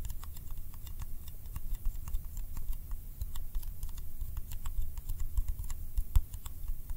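Fingertips tap fast on the lid and rim of a small, round, yellow candy tin made of thin, hollow metal, held in one hand. A steady stream of quick, light, bright ticks sounds over a low, dull rumble, each tap dying away almost at once.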